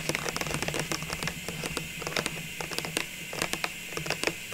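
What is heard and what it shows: Long nails tap and scratch the sides of a clear plastic cylinder packed with small ornaments and wrapped with a red paper label. The result is a quick, uneven run of dry, bright clicks with almost no ring, over a steady scratchy hiss and a faint low hum.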